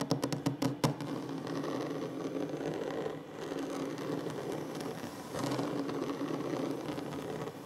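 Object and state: Wooden table.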